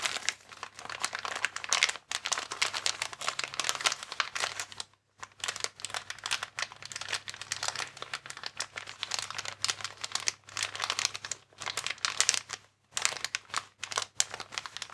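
Fingertips press and rub a transparent, air-filled plastic air column cushion bag with vertical air columns resting on a table. The result is dense, bright crinkling and crackling that runs almost continuously, broken only by a few brief pauses.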